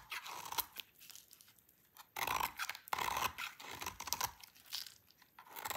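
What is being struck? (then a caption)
Bar of soap cut with a blade. A hand-sized, solid pink bar of dry soap is held in the hands and shaved with a utility knife blade, scraping and cutting off crunchy curls into a pile of shavings. Dry, crackling scrapes come in short bursts and longer strokes, bright and crisp with almost no low end, with quiet gaps between cuts.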